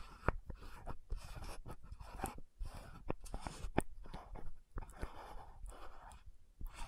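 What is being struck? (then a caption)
Plastic lotion bottle with metal cap. Long nails tap and scratch the metallic gold cap of an orange-red frosted plastic lotion bottle. Short, dry clicks punctuate a soft, continuous scratching that sounds low and muffled, with the taps dying away almost instantly.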